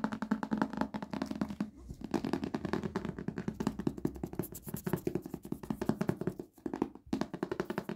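Long nails and fingertips tap rapidly and repeatedly on the glossy dust jacket of a large, solid hardback book lying on a wooden table. The taps are short, dull, and muted, sitting in the low-mid range with very little brightness. They run in quick, steady bursts with brief pauses near the middle and toward the end.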